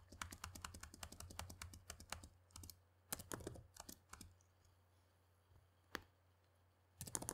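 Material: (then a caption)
Plastic. Fingertips of both hands type steadily on a black plastic laptop keyboard. A fast run of short, bright key clicks fills the first two seconds, then breaks into scattered bursts and a lone tap before a final flurry. A low, steady hum runs underneath throughout.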